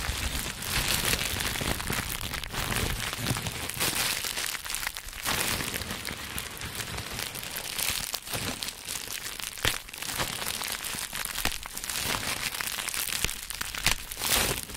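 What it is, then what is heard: Plastic bubble wrap being crinkled. Green plastic bubble wrap with air-filled bubbles is held in both hands and squeezed into a smaller bundle as fingertips and palms crush and crinkle it. A dense, steady, bright crinkling runs throughout, broken by sharp crackles and snaps that stand out at moments.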